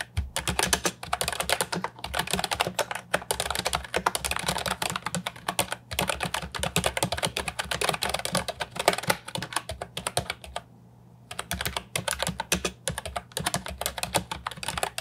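A compact, hollow plastic Ajazz 308I keyboard with round, typewriter-style retro keycaps is typed on with fingertips. It gives a fast, steady stream of bright, clacky keystrokes with very short decay, and a brief pause near eleven seconds. A faint low hum sits underneath.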